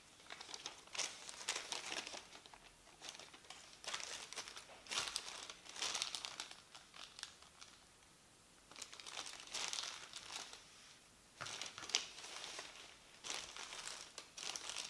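A thin printed paper leaflet, previously crumpled, is smoothed and rubbed flat on a table with palms and fingers. Quiet bursts of bright, dry crinkling and rustling come in uneven waves, with almost no low end and brief pauses between strokes.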